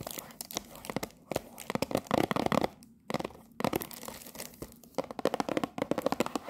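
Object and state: Cellophane-wrapped cardboard tea box.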